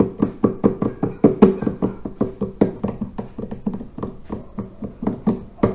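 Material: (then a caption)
Terracotta. Fingertips tap and knock on the clay lid and rim of the top section of a large hollow terracotta water filter. They produce 26 short, dull, hollow knocks in an uneven rhythm. Each knock carries a low, resonant tone that dies away quickly.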